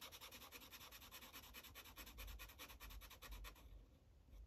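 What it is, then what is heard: Marker coloring on paper over a clipboard. A yellow Sharpie marker tip rubs quick back-and-forth coloring strokes across a thin paper coloring page resting on a clipboard. Each stroke makes a soft, bright scratchy swish over a low rumble. The steady strokes stop shortly before the end, leaving a quieter tail.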